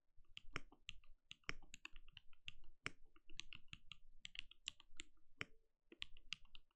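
A compact RGB-lit mechanical keyboard with a translucent plastic case and plastic keycaps sits on a desk and is typed on steadily with the bare fingertips of both hands. Quick, dry keystrokes blend a low thock with bright clicky tops, each dying away almost instantly with no ring. The result is a continuous, uneven patter of typing at a soft level.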